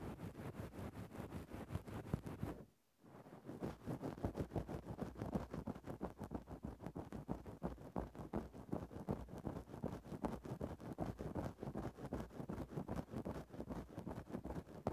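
A thin bamboo ear-pick stick scratches and rubs through a grey synthetic-fur microphone windscreen, making a dense, muffled, low crackling rustle in quick, uneven strokes. The scratching stops for a brief silent moment near the three-second mark, then carries on steadily to the end.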